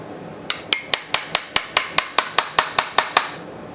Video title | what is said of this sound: RARE NR6 BRIGGS ENGINE RESTORATION (part 2) | almost sounds like it's loosening